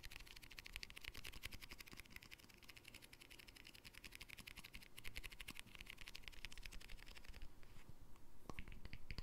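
Fingertips and short nails tap and scratch the bright green plastic lid, with its white center, and the rim of a small round glass jar held in both hands close to the mic. Quick, irregular dry clicks and light scratches run continuously, with a low thumpy base and bright crisp tips.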